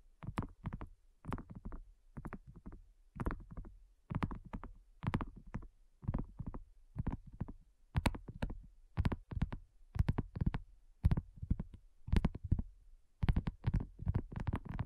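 Long nails tap and lightly scratch a flat, round, pink dotted silicone coaster that is thin and solid. Quick clusters of soft, dull taps repeat about once a second. The taps are mostly low thuds with faint bright clicks at each strike, and they die away almost instantly.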